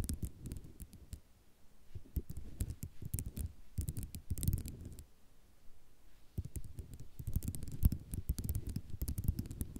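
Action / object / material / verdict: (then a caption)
scrape / ceramic mosaic tile sheet / ceramic / none. Long nails tap and scratch across a flat sheet of small white ceramic mosaic tiles, making rapid, dull clicks and scraping rattles with a few sharp, bright ticks. The sound comes in dense bursts with a quieter stretch near the middle, then turns busier and slightly louder toward the end.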